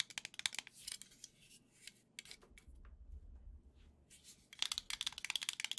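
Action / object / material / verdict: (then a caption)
tap / plastic controller grip / plastic / none. A black, hollow plastic Joy-Con controller grip is held in the hands and tapped and scratched with long nails. Bursts of bright, crisp clicking come in quick, uneven runs, mostly high-pitched, with a quieter, softer scratching stretch in the middle.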